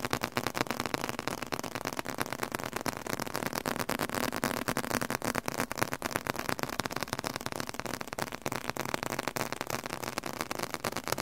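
A leather-covered book is tapped aggressively, producing a rapid, continuous stream of short, dry taps and clicks. The taps come quickly and somewhat unevenly throughout, with no ringing after each strike.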